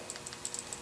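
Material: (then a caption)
Steel. A Ruger revolver chambered in .454 Casull gives a quick series of light, high-pitched metallic clicks and rattles as it is handled, coming from its loose steel transfer bar safety. The rattle is an unwanted looseness, unlike a tight revolver that makes no sound when shaken.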